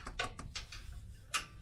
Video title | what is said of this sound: How to install rock sliders on a 2nd gen Tacoma (an idiots guide) | you can tap it and it's like hollow